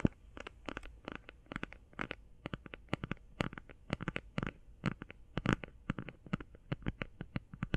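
Fast tapping on a plastic eye shadow palette makes a rapid, uneven run of short, dry clicks. Each click flashes up into the highs over a quiet, steady low hum, with no ring after the taps.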